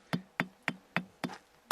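Six sharp knocks on a vesicular volcanic rock full of gas holes. Each knock is a short, bright, plastic-like click with a faint tone near 176 Hz. The rock rings with harmonics.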